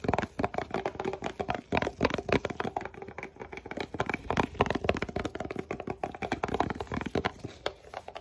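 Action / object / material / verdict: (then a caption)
tap / paperboard box tapped and scratched by gloved fingers / paperboard / none. Gloved fingertips in blue nitrile gloves tap and scratch fast and hard across a flat, hollow, rectangular white paperboard Billie razor box held in both hands, possibly squeezing it lightly, with glove friction adding to the sound. The result is a dense, irregular stream of dry, hollow taps and crackly scratches with a papery midrange body around 400 Hz and almost no ring.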